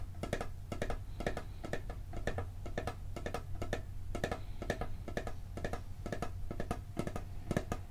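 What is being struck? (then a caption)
Steel cookie tin lid. Fingertips and nails tap rapidly and irregularly on the printed lid of a hollow, round blue steel cookie tin, recorded close up. Each tap is a short, bright metallic click that dies away almost at once, over a steady low hum.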